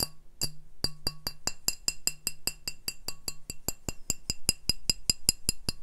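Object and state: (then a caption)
Glass beer bottle. Glass beer bottles are tapped in a quick, steady series of sharp clinks. Each tap is a bright, short ping with a high ringing tone over a faint low hum, and the taps fall at a fairly even pace.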